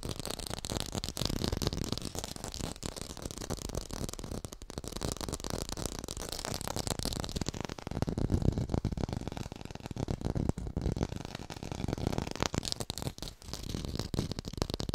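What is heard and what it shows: A small artificial red tomato held in the hands is tapped rapidly with long pink nails. The result is a dense, steady stream of short, dry taps with no ring, heavy in low-end thump and lighter in brighter clicks.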